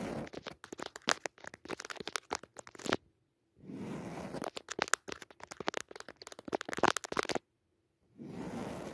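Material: Woven fabric.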